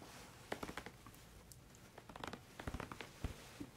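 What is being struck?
Plastic squeeze tube of shower cream.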